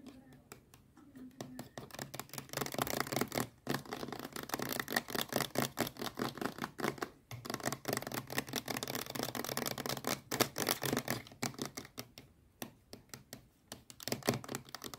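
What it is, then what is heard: Plastic sunscreen bottle. Long nails rapidly tap and scratch the surface of a medium-sized, hollow blue plastic SPF 50+ sunscreen bottle. The result is a dense, continuous stream of quick, dry clicks and scratchy rasps with a brief pause near the start and a few short gaps along the way.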